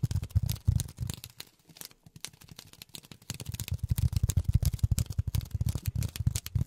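Polyethylene foam is tapped with silicone rubber finger pads. Rapid, uneven taps make soft low thuds with light, bright crinkly clicks on top. There is a brief lull just before the two-second mark, then the tapping picks up again and continues steadily to the end.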